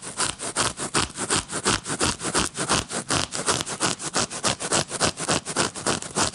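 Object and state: Paper playing card deck.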